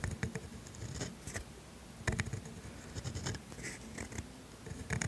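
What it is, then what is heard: Steel dip pen nib scratching on grid paper. A steel pointed dip pen nib scratches ink strokes onto thin grid paper while writing cursive. Soft, scratchy strokes come in irregular bursts with bright, papery rasps over a low, dull rumble of the nib pressing into the paper, and louder clusters near the start, middle and end.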